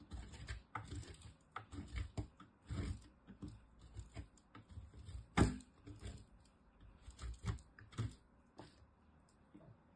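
A small, solid green-and-white striped bar of soap, held in long-nailed fingertips, is rubbed down a green metal box grater, shaving off flakes. The result is a quiet, irregular series of short, dull scraping strokes, mostly low in tone with a faint bright edge. One stroke about halfway through is noticeably louder.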